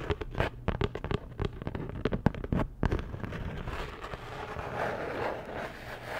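Long nails tap and scratch a flat, postcard-sized printed cardboard Dior packaging card. A quick, uneven run of dry, sharp taps fills the first three seconds, then gives way to a softer, steady scratching rasp that continues to the end.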